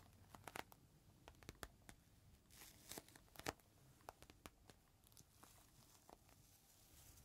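A small clear plastic bag holding a folded green microfiber cloth is held upright and squeezed in both hands while fingertips crinkle and scratch the plastic. Quiet, sharp crackles and ticks snap out over a soft, steady rustle, with a denser burst of crinkling near the middle of the clip. Each crackle is bright and dies away instantly.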